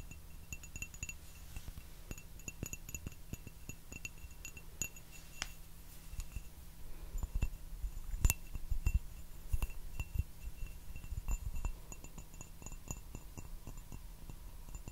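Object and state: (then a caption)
Ceramic teacup tapped with fingertips and nails. A small, hollow, turquoise glazed ceramic teacup without a handle, held upside down and empty, is tapped with fingertips and nails around its body. Quick, light clinking taps with a brief bright ring repeat steadily over a low, constant hum. The tapping grows busier and louder in the middle before settling back to a softer pace.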